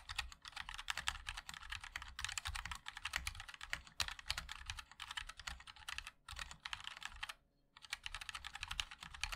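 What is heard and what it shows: Fingertips of both hands type continuously on a MOD-L 60% mechanical keyboard with a black aluminium case, white and black ABS plastic keycaps and linear switches. A rapid, dense stream of short, bright taps with a low thock beneath, with a brief pause near the end before typing resumes.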